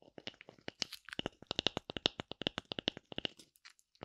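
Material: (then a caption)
Wood. A thin, hand-sized oval slice of light wood with a brown bark rim is held in one hand while long nails scratch and tap its flat cut face. About twenty-three quick, dry clicks and scrapes follow one another with almost no ring. The sound is crisp and bright.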